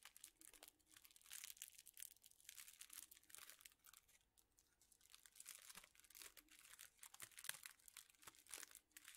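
A bundle of straws in thin clear plastic wrappers is crinkled and squeezed with the fingertips. It makes a quiet, continuous stream of crisp, bright crackles and rustles, with almost no low end. The crinkling swells and fades in loose waves throughout.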